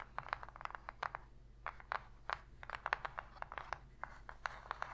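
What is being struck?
Empty cardboard box.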